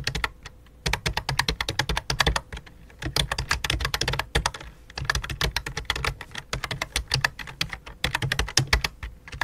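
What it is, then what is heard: Plastic computer keyboard. Both hands type rapidly with fingertips and long dark nails on a full-size white and light-blue plastic computer keyboard resting on black cloth. Dozens of quick, sharp plastic key taps come in bursts, each with a bright clicky clatter over a low thock and almost no ring. Brief pauses break up the bursts.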